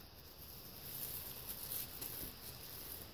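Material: Nothing is struck.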